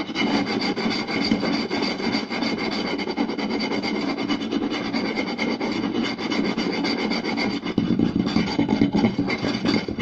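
Both hands scratch a round, solid wooden plate with short nails and tap it with the fingertips, moving from the center to the lower edge. The result is a dense, fast, rasping scratch with quick dry taps mixed in, holding a steady level for the whole stretch. It grows fuller and slightly louder near the end.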